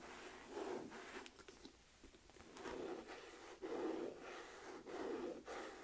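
Long nails tap and scratch the back and flap of a medium, hollow, beige smooth-leather Michael Kors flap purse. Four soft swells of dry rubbing and scratching rise and fade at a slow, uneven pace. A low hollow body sits under brief bright ticks from the nails.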